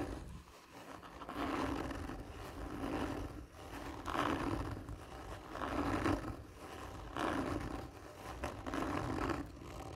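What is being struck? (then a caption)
Cardboard tube. Fingers and nails scratch slowly and hard across a hollow, textured cardboard tube lying on its side. Each stroke is a rough, raspy scraping that swells and fades at a steady, unhurried pace, with a hollow resonant tone around 290 Hz ringing inside the tube.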